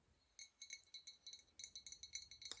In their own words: we also have this beautiful glass Christmas tree.